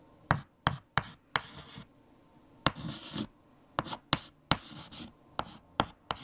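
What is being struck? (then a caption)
White chalk on a chalkboard. White chalk held in the fingertips writes equations on a large, flat black chalkboard. Eleven sharp taps as the chalk strikes the board are separated by brief, bright, gritty scratching strokes, with quiet pauses in between.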